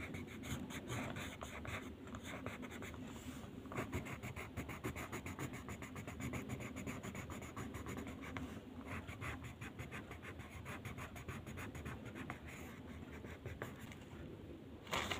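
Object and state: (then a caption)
Paper sheet being colored with pencil. A blue wooden pencil held in the fingertips colors a flat white paper mandala sheet on a table. Its lead makes a steady run of quick, scratchy strokes with a papery rasp and a bright edge. The strokes continue nearly without pause, with a few brief gaps.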